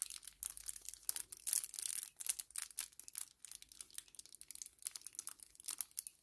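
A small, flat 10 ml kraft paper-plastic laminate sachet is held in both hands and crinkled and crumpled with the fingers. The result is a quiet, dense stream of sharp, bright crackles and crinkles that stop almost instantly, with almost no low end.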